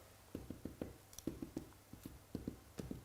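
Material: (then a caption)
Bread. Bread rolls just out of the oven are tapped on top in a quick series of short, dull, hollow knocks with low, muffled thuds and almost no ring. The hollow sound shows the rolls are baked through and ready.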